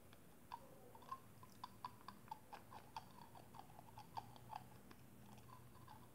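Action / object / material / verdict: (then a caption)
tap / small clear plastic cosmetic tube / plastic / none. Long acrylic nails tap and click on a small hollow clear plastic cosmetic tube with a black cap and pink liquid inside. The result is a quiet, irregular run of short, dry clicks with a hollow plastic tone around 840 Hz and almost no ring, over a soft low background hum.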